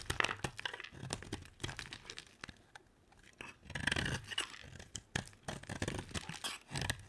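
A metal utility blade scrapes a solid white bar of soap that has already been heavily carved, shaving off crunchy flakes. Dry, crackly scraping and tearing bursts come in quick uneven strokes with a bright, crisp edge, pausing briefly near the middle before picking up again.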